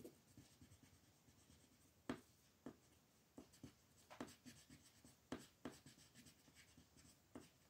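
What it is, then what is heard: Colored pencil shading on paper. A green wooden colored pencil shades a flat sheet of printed coloring paper lying on a wooden table, with the other hand, which has long painted nails, holding the sheet still. Steady, soft rubbing and scratching strokes run throughout, broken by several sharper, brighter ticks as the pencil changes direction.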